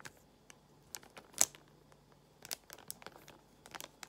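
A small translucent plastic pouch holding a paper card of nail art gemstones is squeezed and crinkled with long nails. Quiet, bright crinkles and sharp little ticks come in scattered bursts, with the loudest snap near the middle. Each sound stops almost instantly.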